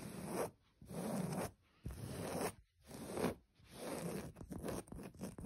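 Long pointed nails and fingertips scratch and rub a flat beige linen-like cloth with black embroidery and a soft surface. The result is a series of dry, rasping, zipper-like strokes, each separated by a short pause. The strokes grow quicker and choppier toward the end.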